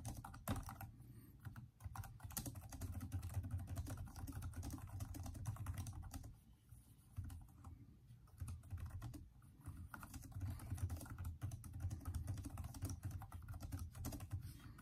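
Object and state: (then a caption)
Plastic laptop keyboard. Both hands type steadily with their fingertips on the backlit plastic keyboard of a Microsoft Surface-type laptop with hollow keys. The result is a continuous stream of quick, dull, low-pitched key taps that stop short with almost no ring. The typing eases off briefly around the middle of the clip before resuming.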